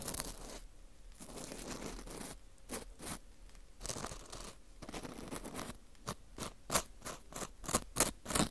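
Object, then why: Dried wheat gluten ring (fu) scraped with a metal hook. A small, porous dried wheat gluten ring (fu) with a hollow center, held in a gloved hand, has its surface and hole scraped with a thin metal hook. Soft, dry scratching and rasping strokes come in loose, uneven bursts, with bright, crisp scrapes growing sharper and more clipped toward the end.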